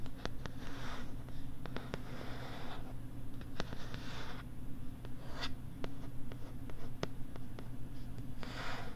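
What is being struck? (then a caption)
Plastic writing tablet and stylus. A stylus writes and taps on a pink plastic LCD writing tablet held close to the right side of the microphone. Soft, breathy scratching strokes alternate with sharp, bright clicks from the taps, all over a steady low hum.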